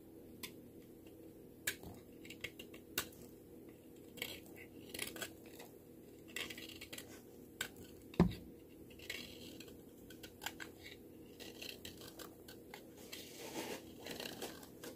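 A small yellow-handled knife shaves and scrapes thin slivers off a thin, hand-sized solid pink soap bar held in one hand above a tray of shavings. It makes quick, repeated soft scraping strokes with short, bright clicks over a low, steady hum, and one louder thud comes near the middle.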